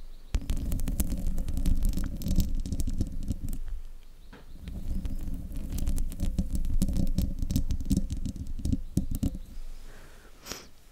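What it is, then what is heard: Metal microphone mesh grille being scratched. Fingertips and nails scratch the sides of the hollow metal mesh grille on a silver desktop microphone. The result is a close, heavy low rumble threaded with sharp, bright scraping clicks. It comes in two long bursts separated by a brief lull, then thins out toward the end.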